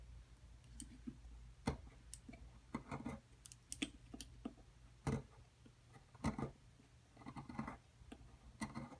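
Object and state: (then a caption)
Plaster excavation block. A metal chisel scrapes and chips at the edge of a solid white plaster excavation block lying flat and held down by one hand. Short, dry, irregular clicks and scratchy taps come at an uneven pace, with brief bright crunches over a faint low hum.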